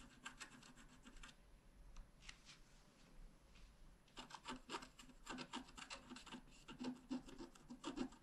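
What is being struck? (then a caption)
Coated scratch art paper card with wooden stylus. A wooden stylus scratches and hatches the black coating of a thin, flat scratch art card, producing quick, dry, raspy strokes with a bright, papery edge. The strokes come in rapid runs, ease into a softer, sparser stretch, then return as dense, quick hatching to the end.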